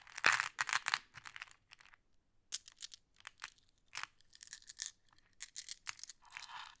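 A handful of small, solid, flat glass decorative pebbles is held and shuffled while fingers pick more from the pile in a wooden tray. The result is bright, dry clacking in short bursts with brief pauses between them.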